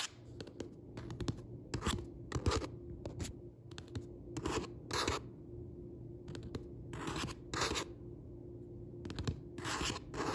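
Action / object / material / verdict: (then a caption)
tap / paperback book with glossy card cover / paper and card / none. Fingertips with red-painted nails tap and scratch gently on the dark, glossy card back cover of a paperback book lying flat with its author photo facing up, the solid paper pages underneath. The result is quiet bursts of crisp, clicky nail taps and brief scraping rubs in irregular clusters over a faint low steady hum.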